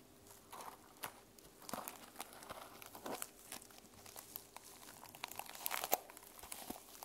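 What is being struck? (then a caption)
Sequin-covered journal. Long nails scratch across a sequin-covered notebook held at an angle, producing quiet, bright, crinkly rasps and clicks in a string of short, irregular strokes. The sounds are dry with almost no ring, and there is little low end.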